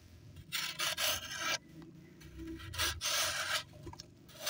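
A small knife blade shaves a hand-sized solid block of pressed dry sand held over a blue plastic basin, with loose sand pouring off in streams. Bright, gritty rasping scrapes come in long bursts separated by quieter sifting patter.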